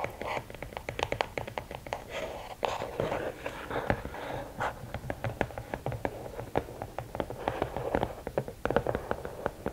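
Long nails scratch the sides of a closed, hollow red and black rigid cardboard gift box, then tap on its lid. The result is a dense run of quick, dry clicks and taps with very short decay, over a soft scratchy rustle centred in the midrange with a hollow tone.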